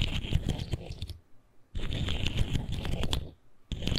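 A colorful articulated plastic fidget slug is compressed and twisted between fingertips, its segments clicking and rubbing together. The sound comes in three bursts of dense, crackly clicks separated by short silences, with a heavy low rumble beneath the bright, sharp ticks.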